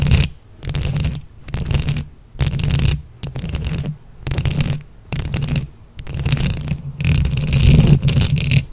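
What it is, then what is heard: Microphone covered in plastic flower buttons, scratched with nails. Long acrylic nails on both hands scratch and tap a round microphone head covered in small plastic flower buttons. The result is repeated bursts of dense, close-up rumbling scratches and clicks, heavy in the low end with a thin bright edge, separated by short silent gaps.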